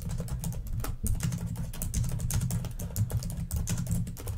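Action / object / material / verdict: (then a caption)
tap / plastic laptop keyboard / plastic / none. Long nails type very fast on a black plastic laptop keyboard, producing a dense, rapid stream of sharp, bright clicks with almost no ring. A steady low hum sits beneath the tapping throughout.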